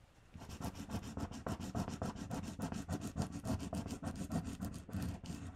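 Fingertips and long red-painted nails press and rub flat, thin valentine stickers down onto a sheet of pink paper lying on a table. The sound is a steady run of soft, scratchy rubbing strokes, about three to four per second. Each stroke is short and dry, with a muffled low body and a faint bright edge.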